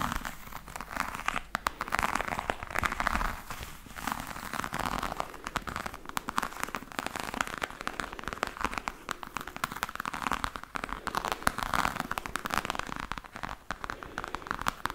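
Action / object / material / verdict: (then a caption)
scrape / croc-embossed faux leather hard case / faux leather / none. Long nails scratch the textured side of a black croc-embossed faux leather hard case with a metal handle. The result is a continuous dense crackling, crinkling scrape centered in the mid range, with bursts that rise and fall over the clip.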